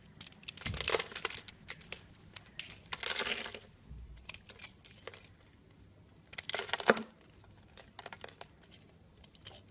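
A utility blade scrapes small cubes off a solid, hand-sized blue and white striped soap bar scored in a grid, held in the fingers. Crisp, bright crinkling scrapes swell in three louder bursts, with many short dry ticks and crumbles scattered in between over a quiet background.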